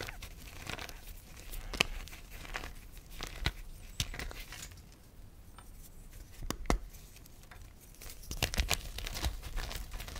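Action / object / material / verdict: scrape / gym chalk lumps / chalk / none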